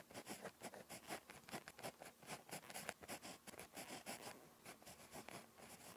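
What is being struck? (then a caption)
Ballpoint pen on paper notebook page. A ballpoint pen tip scratches across a thin, flat lined notebook page while writing Korean handwriting. The result is a quiet, irregular run of short, dry scratching strokes with bright, papery hiss and little low end.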